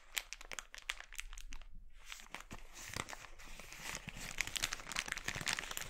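An empty, glossy red, thin polyethylene mailer bag, scrunched into a ball on a wooden board, is pinched, squeezed and crinkled by fingertips. It makes dense, bright, crisp crackling full of quick sharp snaps, with a brief quieter lull early on. The crinkling grows busier and louder toward the end.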